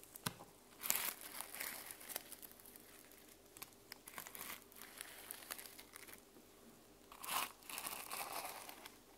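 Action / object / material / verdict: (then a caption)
scrape / sequin-covered journal with plastic sequins / plastic sequins / none. Long nails scratch the plastic sequins on the cover of a closed sequin-covered mermaid journal, which is briefly turned on its edge. Bright, crinkly scraping and rustling come in soft bursts over faint background hiss, with louder swells near the start and again near the end.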